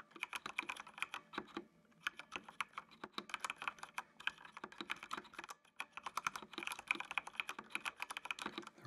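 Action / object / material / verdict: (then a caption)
tap / plastic mechanical computer keyboard / plastic / none. Fingertips type on a full-size black plastic mechanical computer keyboard with RGB backlight, producing rapid, bright, clicky keystrokes with a focus around 2.4 kHz and almost no low end. The typing runs in quick bursts with brief pauses near 2 and 6 seconds, each key click dying away almost instantly.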